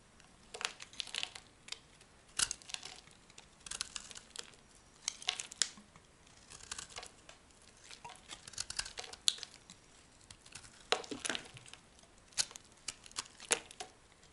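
A large, solid brown laundry soap bar held in the hand is scraped with a metal knife blade, shaving it into dry, crumbly flakes. Quiet, crisp scraping and crinkling bursts come in irregular clusters, bright and papery with almost no low end. Each stroke ends sharply with no ring.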